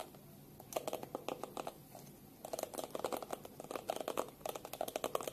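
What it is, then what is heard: Plastic hairbrush tapped with fingernails. Long pink nails tap quickly on the hard plastic back of a black plastic detangling hairbrush held upright in both hands. The result is bursts of dry, clicky taps with a hollow knock around 500 Hz and almost no ring, with a quieter pause near the two-second mark before the tapping resumes more densely.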